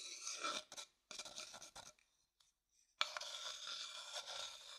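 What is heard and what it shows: An empty, light-colored hollow wooden bowl is held in the hand while its inside is stirred and scraped with a wooden stick. The result is bright, dry rasping in uneven bursts, separated by near-silent pauses, then a steady scrape from about the three-second mark to the end. There is almost no low end.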